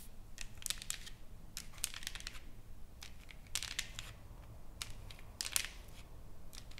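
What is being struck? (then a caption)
Engraved wooden plaque. Long nails tap and scratch across a solid, flat wooden plaque engraved with text and painted with flowers. Quiet clusters of dry, bright clicks and scratchy rasps come in irregular bursts over a low, steady hum, each sound stopping almost at once.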